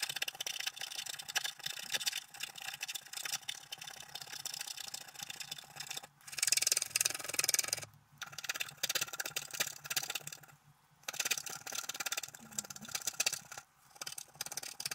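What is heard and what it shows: A thin wooden stylus scratches lines into a flat scratch-art card, cutting through its black wax layer to the colored base while the other hand holds the sheet down. The result is a steady, bright, dry scratching hiss, louder around the middle, broken by a few short pauses as the stylus lifts between strokes.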